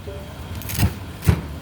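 A knife cuts through the skin of a fried German pork knuckle (schweinshaxe), giving two short crunchy cracks, each a low thud with a bright crackle, over a faint low background hum. The skin is very crispy, crisp outside and tender inside.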